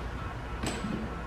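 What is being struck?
Nothing is struck.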